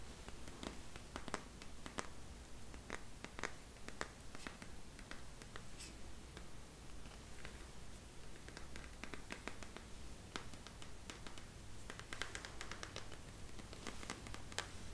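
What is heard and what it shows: Long nails tap and scratch the surface of a hand-sized hollow globe light made of green-gold crackle glass on a dark base, held in one hand. The result is a quiet, uneven stream of short, sharp clicks with very brief ring and light scratching, over a steady low hum.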